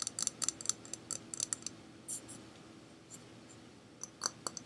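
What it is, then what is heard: Hard plastic object. A hard plastic object called a Dipple, bought at Target, is tapped in quick, light bursts that produce dry, bright clicks with almost no ring. After a softer, quieter stretch in the middle, a final few sharper taps are heard. The plastic gives a crisp, pleasing tapping sound.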